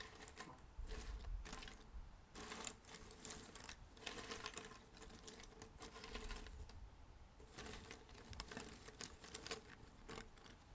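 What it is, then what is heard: Cardboard jigsaw puzzle pieces. Fingertips rummage and stir a large loose pile of small, thin cardboard jigsaw puzzle pieces on a red table. Dense, bright clicking and rattling comes in bursts of shuffling, separated by brief quieter moments, with a low soft rumble underneath.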